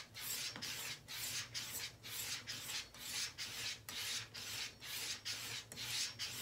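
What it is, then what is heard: Leather razor strop being stroked. A straight razor is stroked back and forth along a long, brown, solid, flat and flexible leather strop that is hooked to a door frame and held taut by one hand. Thirteen steady, evenly paced passes give a bright, airy rubbing scrape, each with a short fade between strokes.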